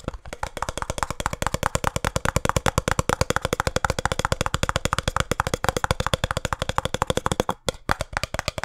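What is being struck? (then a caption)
Small printed cardboard box. A small, hollow, printed cardboard box for a speed cube is held in both hands and tapped rapidly on its sides with fingertips and nails. The result is a steady stream of quick, dry, hollow knocks with a low thump and almost no ring, interrupted by a brief pause near the end before the tapping resumes.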